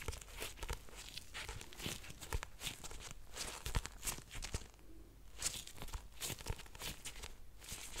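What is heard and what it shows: Nitrile-gloved fingers rub and grip the solid paper cover of a black paperback book, "Pillow Thoughts." The result is a steady, close crinkling and scratchy rustle with many quick dry scrapes and soft low thumps, each one dying away at once, plus bright hiss on the strokes.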